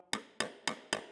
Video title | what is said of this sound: Metal Finishing Secrets Every Fabricator Should Know | you can hear that ping. So that's where you want to be.